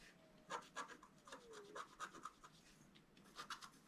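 A wooden stylus scratches away the black coating of a flat scratch-art sheet, black over a colored foil layer, held flat on a table, in fine strokes. Quiet, irregular bursts of short, dry, bright scraping come in clusters with brief pauses, and a faint tone glides downward underneath.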